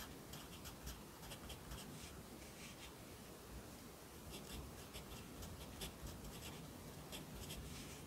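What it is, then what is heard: Pencil writing on a paper notebook page. A yellow pencil writes lines of text on the right page of an open lined paper notebook resting on a desk. Quiet, steady scratching with short bright strokes runs throughout over a low background rumble.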